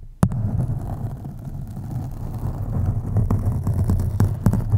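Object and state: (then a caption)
Foam microphone windscreen being scratched. Long acrylic nails scratch along the sides of a black foam microphone windscreen. The sound is a steady, deep, muffled rumbling scrape concentrated in the low range, broken by a few brief, sharp clicks that flash up into the highs.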